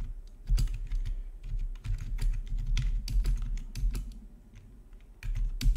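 Fingertips type steadily on a full-size black plastic RGB backlit gaming keyboard with a hollow housing, resting on a marble surface. The result is a continuous stream of quick, dry key clicks with bright, sharp edges over a deep, hollow low thump.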